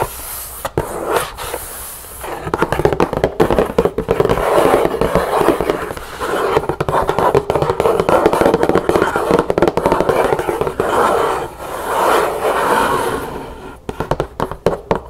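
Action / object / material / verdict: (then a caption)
tap / cardboard gift box / cardboard / none. Long painted nails tap quickly and scratch across the world-map lid of a large black cardboard gift box, its lid open and hollow inside. Rapid, irregular dry taps overlap with a scratchy, papery rasp, with short, dull, midrange knocks that die away almost at once.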